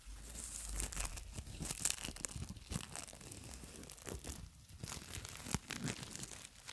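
A long roll of clear plastic cling film on a tube is held in both hands in front of a microphone while long nails and fingertips rub and crinkle the film on the roll. The result is a dense stream of bright, crackling crinkles and tearing-like rustles, with sharper snaps standing out along the way.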